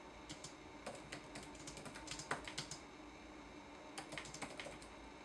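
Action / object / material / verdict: tap / plastic laptop keyboard keys / plastic / none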